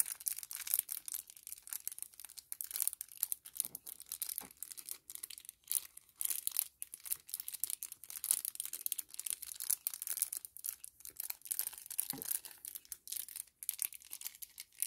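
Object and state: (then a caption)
Kraft paper-plastic laminate sachet. A small, flat 10 ml sample sachet of brown kraft-look paper-plastic laminate film with a clear window is held in both hands, crinkled and rubbed with the fingertips. The result is a quiet, continuous stream of bright, crisp crackles and rustles with almost no low end. Each crackle dies away almost instantly.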